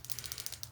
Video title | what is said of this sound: ASMR ARTIST CRYSTAL TAPPING STARSEED EARTH SHAMANESS ASMR FOR YOUR INNER GOD/GODDESS | This is a crystal, a calcite.